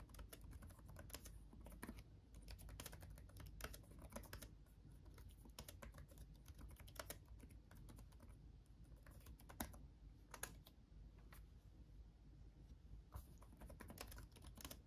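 Both hands type with their fingertips on a backlit laptop keyboard with plastic chiclet keys. A steady run of quick, light clicks and taps rises over a constant low hum, with each keystroke dying away almost instantly.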